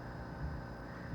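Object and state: Nothing is struck.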